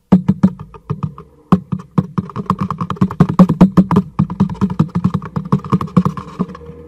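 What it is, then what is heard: Cardboard box tapped with fingertips. A black cardboard product box, held upright in one hand, is tapped on its side with the fingertips of the other hand. The result is a quick, uneven run of dry, hollow taps with a low, boxy body and almost no ring, some taps landing harder than others.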